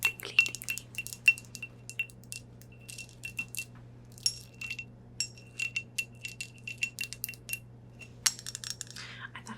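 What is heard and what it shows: Fingernails tap quickly and irregularly on a large crystal ashtray, possibly a cigar ashtray. Each tap gives a bright, tinkly, glassy clink with a high ringing tone near 2.7 kHz that dies away almost at once. The taps come in loose clusters over a quiet, low hum.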